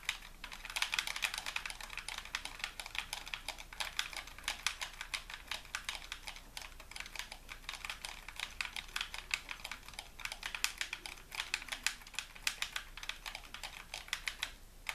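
A white, hollow plastic game controller is held in both hands while fingertips and thumbs tap and press its buttons repeatedly. A steady stream of quick, dry, bright clicks runs throughout, each one short with almost no low end.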